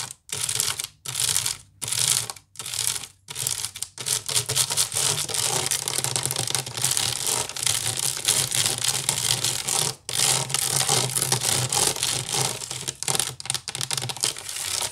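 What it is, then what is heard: Wicker basket being scratched. Long nails scratch fast across the weave of a large, hollow woven wicker basket. The sound is a bright, dry, crackling rasp: short bursts with brief gaps for the first few seconds, then a dense, continuous scratching with a momentary pause near the ten-second mark.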